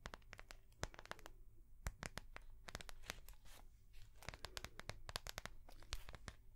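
A small ring-binder notebook with a translucent soft plastic cover and metal rings is held in the hands and tapped with long fingernails on the plastic cover. It gives a rapid, irregular series of sharp, bright clicks and crinkly scratches over a steady low hum.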